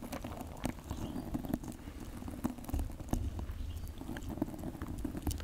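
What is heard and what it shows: Fingertips wearing rings squeeze and rub a dry, fibrous, cylindrical natural loofah sponge about hand length, with a cord loop, held right beside the microphone. The sound is a steady, close crackling patter with a full low rumble, broken by sharp dry clicks and brief louder crunches throughout.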